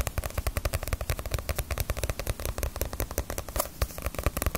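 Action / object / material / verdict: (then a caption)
tap / paperback book with glossy paper cover / paper / none. A small, solid Naruto paperback manga volume with a glossy paper cover is held in the hands and tapped on its cover and spine with fingernails. About 35 quick, dry taps follow one another in a steady patter, each a dull, low thud with a faint crisp click that dies away almost instantly.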